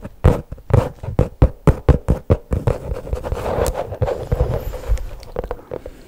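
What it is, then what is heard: Faux leather pouch, tapped and scratched with nails. Long pink nails tap on the top of a flat black faux leather pouch held horizontally behind the mic, giving a run of distinct, dull, low-heavy taps. The tapping then gives way to a continuous, softer scratching along the pouch's top, with a few more light taps near the end.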